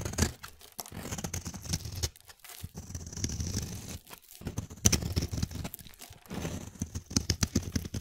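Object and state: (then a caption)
Bar soap being carved. A solid, palm-sized light-blue bar of soap held in one hand is shaved and carved with a utility-knife blade, with curls and flakes peeling off the edge. Bursts of crisp, dry scraping and tearing strokes carry a soft low body and a bright, hissy edge, separated by brief quiet pauses.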